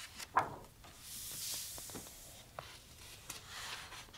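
Fingertips rub and turn the coated paper pages of a large, thick softcover photo book. A sharp papery snap comes first, then a soft, high, hissing swell of rubbing, followed by quieter scattered clicks and light brushing. The overall sound is quiet and close.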